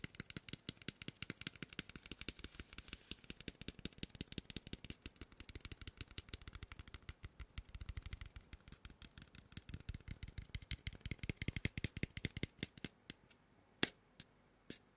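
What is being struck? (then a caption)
Polystyrene foam mannequin head. Fingertips tap and scratch quickly across the forehead and top of a large, lightweight, white polystyrene foam mannequin head. The result is a dense stream of dry, hollow little clicks, with soft low thuds under a bright scratchy crackle, each dying out almost instantly. The taps thin out near the end to a few sparser, sharper hits.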